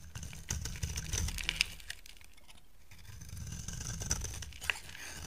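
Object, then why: Bar of soap cut with a knife blade. A utility knife blade scrapes and carves a solid, dry, oval white soap bar into curls. Crisp, crackly scraping comes in short bursts with sharp bright clicks over a low rumble, easing into a quieter stretch midway before the cutting picks up again.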